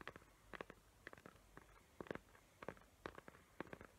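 Long nails tap and scratch the glittery lid of a small square cardboard gift box covered in glitter paper with raised hot-glue tree outlines. Quick, dry clicks come in small uneven clusters, with soft scratchy rasps between them. The sound is quiet and close.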